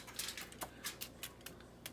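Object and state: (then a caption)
Crispy baked chicken skin. Crispy baked chicken breast skin, broiled in the oven, is tapped repeatedly, giving a series of sharp, dry, typing-like clicks. The bright, crackly taps confirm the skin is crispy.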